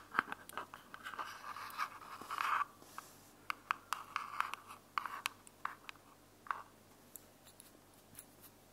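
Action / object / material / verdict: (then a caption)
tap / small plastic earbuds charging case / plastic / none. Long decorated fingernails tap and scratch a small, closed, hollow white plastic wireless earbuds charging case held in one hand. Quick, dry clicks mix with brief scratchy bursts that carry a hollow mid tone near 1.3 kHz with bright edges. Each tap dies away almost instantly, and the sound stays quiet throughout.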